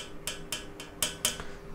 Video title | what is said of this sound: DASAR SENI MUSIK - PODCAST GURU SENI - UNSUR MUSIK #VISUALAUDIO #PAKRAMA | bunyi kaca yang saya pukul menggunakan pensil